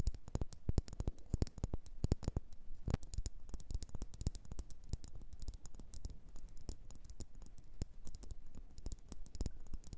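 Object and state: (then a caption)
Wax pillar candle. Long nails tap and scratch on a solid red faceted wax pillar candle, making a dense run of quick, dry clicks and light scrapes. Each tap dies almost instantly, leaving short, close-spaced hits with a low thump under them and faint bright ticks on top.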